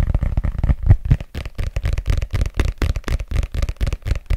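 Fingertips tap and scratch the glossy cover and spine edge of a red paperback book, a solid paper block held horizontally over the mic. About twenty short, dull, low thumps come in a quick, uneven run with almost no brightness, densest and loudest in the first second. Each one dies away almost at once.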